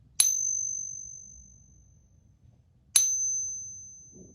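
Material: Brass.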